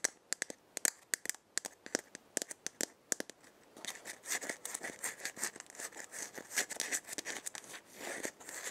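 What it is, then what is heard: Dried gourd maraca tapped and scratched with nails. A hand-sized, hollow, round dried gourd maraca with painted patterns is held in the hand while long dark-painted nails tap and scratch its shell. The first half is sharp, separated, bright clicks. It then turns into denser, continuous scratching and rustling with high, crisp texture.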